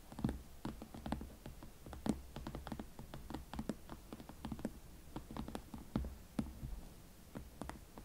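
Long nails tap and scratch the leather upper of a single hot pink leather Valentino Club Platform Chelsea ankle boot with a platform sole, held in both hands, hollow and empty. Quiet, uneven taps give short, dull knocks with a low hollow body and brief bright clicks, over a soft scratchy rustle.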